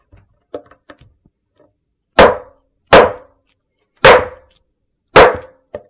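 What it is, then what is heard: Large soap slab struck with a metal mallet. A large, flat, solid white soap slab is struck with a metal meat tenderizer mallet. A few faint light taps are followed by four loud, dull knocks, each with a brief mid-pitched ring that fades quickly.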